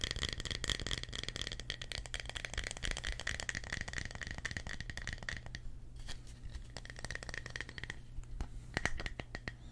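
A small, solid, thick round slice of tree trunk, with bark on the edge and growth rings on the cut face, is held in both hands and tapped and scratched with fingertips and short nails. The result is a dense run of quick, dry clicks and scratchy rasps over a steady low hum, with a faint tone near 1.9 kHz. Softer stretches are broken by a few sharper taps.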